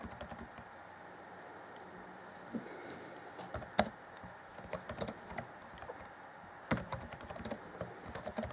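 Fingertips of both hands type on the black plastic chiclet keys of a grey Acer Chromebook C20 (2014) laptop keyboard deck. Short, bright plastic clicks come in quick bursts over a faint steady hiss. A few sharper, louder key strikes stand out among the softer taps.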